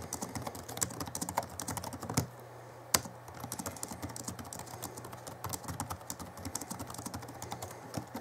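Fingertips of both hands type on the backlit plastic keys of a small 2011 Alienware M11x R2 laptop keyboard, producing a rapid stream of short, bright, dry key clicks. The typing pauses briefly just after two seconds, leaving a faint low hum, then resumes with a sharp, louder key strike and continues steadily to the end.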